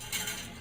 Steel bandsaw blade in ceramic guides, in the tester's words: You hear that? That's a good sign. That's exact.